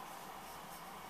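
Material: Nothing is struck.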